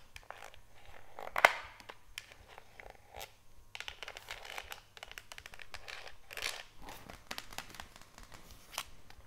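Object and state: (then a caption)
Plastic bleach jug. Long nails tap and scratch the screw cap, handle and body of a white HDPE plastic jug of oxygen bleach, hollow with powder inside. Dense dry clicks and scratchy, rustling strokes continue throughout, with one sharper, louder tap early on, over a faint steady low hum.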